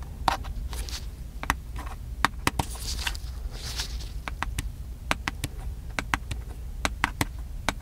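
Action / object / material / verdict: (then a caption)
tap / small plastic handheld camcorder / plastic / none. A small, hollow black plastic handheld camcorder is held up near the face and tapped with the fingertips on its top and side. Many short, dry, bright clicks and taps land at an uneven pace, each dying away almost instantly, with faint scraping between them. A steady low rumble runs underneath throughout.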